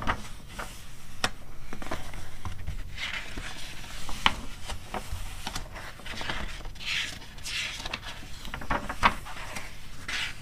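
Long red-painted nails and fingertips rub and scratch across the thin, flexible glossy pages of an open animal magazine resting on a fur rug, with page turns in between. The result is soft, dry rustling and scraping with a steady low rumble underneath. Sharp tapping and crinkling clicks punctuate it, along with brighter swishing bursts as the pages move.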